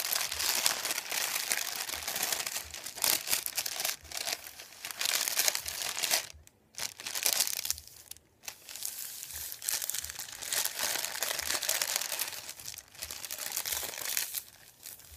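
A hand presses and crinkles a thin white printed paper sheet, folded and lifted at its edge, lying on a wooden table. Dense, bright crackling and rubbing continue throughout, with brief quiet pauses around 6.5 and 8.3 seconds before the crinkling resumes.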